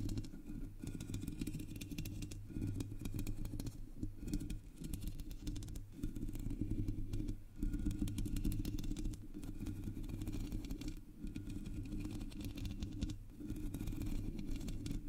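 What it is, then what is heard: Metal mesh microphone grille being scratched. Long shiny nails scratch the sides and top of the black hollow metal mesh grille on a Blue Yeti microphone. The result is a dense, continuous scratching rumble, heavy in the low end with a steady hum near 109 Hz and very little high content. It briefly dips in level a few times before resuming.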